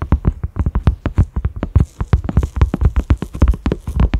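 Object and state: Silicone pot lid.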